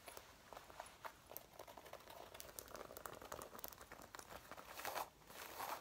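Long painted nails and fingertips scratch and rub the front panels of a dark brown faux leather jacket being worn, near the waist and chest, over the soft, flexible material. Quiet, crinkly scratching and rustling are heard, with many small, sharp ticks. A brighter, louder burst of scratching comes near the end.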